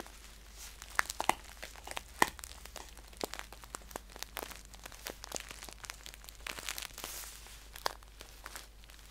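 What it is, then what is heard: Paper tea pouch. A green paper tea pouch is held upright in both hands while fingertips and nails scratch and tap its crisp paper. Quiet, irregular crinkling and scratching fill the clip, broken by a few sharper, brighter taps, over a steady low hum.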